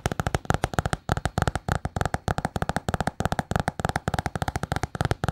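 Long painted nails rapidly tap and scratch a small solid notebook with a patterned paper cover. About 38 quick, dry taps land in a steady, dense run, each with a low, thumpy body and a short bright click that dies away almost at once.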